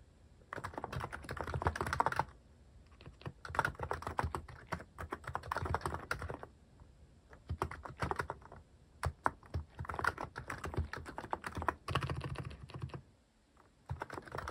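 Fingertips type on a mechanical keyboard with plastic cat-shaped keycaps, the hand moving across the keys. Rapid, dry plastic clacks with a low thocky body come in dense bursts of typing, separated by short pauses.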